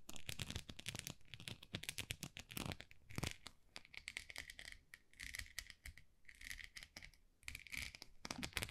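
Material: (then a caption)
Plastic. Long nails scratch across the bumps of a small, solid white plastic rice paddle with a textured dotted face. The result is a quiet, dense run of rapid, dry scratching and ticking with a bright, hissy edge and a soft low thump under it. It comes in bursts and short sweeps with brief pauses between.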